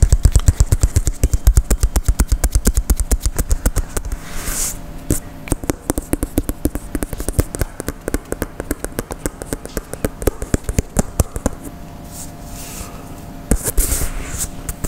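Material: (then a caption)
Synthetic leather. Fingertips tap and scratch the synthetic leather panels of an inflated, hollow Adidas Uniforia soccer ball held in one hand. The result is a fast, uneven stream of dozens of short, dull, low thumps with almost no ring, broken by a few brief, brighter scratching swishes.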